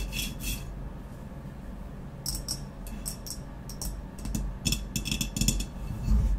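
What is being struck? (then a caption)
Ceramic vase. Long nails scratch and tap quickly on the black, textured matte body of a hollow ceramic vase lying on its side. Irregular bursts of bright, short clicks and scratchy taps rise over a steady low rumble.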